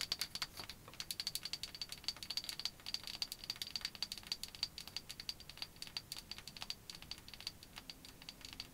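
Long white acrylic nails tap and scratch along a small hollow bamboo cylinder, possibly a cosmetic case or handle, held in both hands. A steady run of quick, dry clicks with scratchy strokes between them stays almost entirely in the high range, with a faint bright tone in each tap. Each click dies away almost at once.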